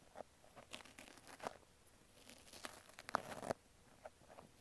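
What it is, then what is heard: Foam kitchen sponge being scratched. A pink wavy foam kitchen sponge with a green scrub layer, cut into an ear shape and held in fingers, is scratched and poked inside its slit with a thin wooden-handled pick. Quiet, dry crunchy scratches and crinkly tearing rasps come in short bursts over a faint background. A louder, longer scrape near the end is followed by a few lighter scratches.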